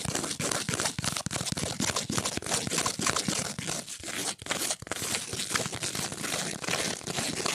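A flat, thin, solid octagonal cardboard ornament printed with an angel picture is held in the hands and scratched and tapped with long nails. The result is a dense, continuous run of bright, dry scratching and crinkly tapping with short, quick-decaying clicks and only brief dips in level.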